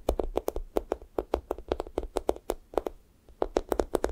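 Fingertips poke and peel off the pink sticky top of a thick strawberry toast squishy toy made of soft, solid foam. About 27 short, sticky tapping pops land in quick succession, each a mid-toned thump with a bright crackly edge that dies away almost instantly. The series pauses briefly near the three-second mark before the pokes resume.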